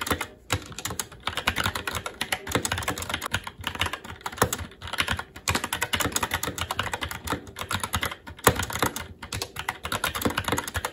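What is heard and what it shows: Fingertips of both hands type continuously and fast on a SteelSeries Apex 7 TKL mechanical keyboard with plastic keycaps on a metal top plate and Red linear switches. The result is a dense stream of sharp, bright plastic clacks with very short decay, a low thock under each press, and only brief pauses.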